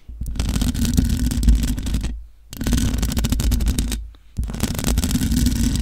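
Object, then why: Metal mesh microphone grille. Long acrylic nails on both hands scratch and tap the hollow mesh grille of a black matte metal desktop USB microphone. The result is a dense, booming low rumble laced with bright crackling scrapes, heard in three sustained bursts separated by two brief near-silent pauses.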